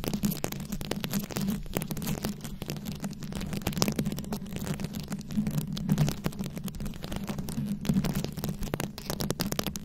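Long acrylic nails scratch and tap across a fist-sized microphone head fully covered in small glued-on rhinestones and beads. A dense, continuous stream of crisp clicks and gritty scratches runs over a steady low hum for the whole clip.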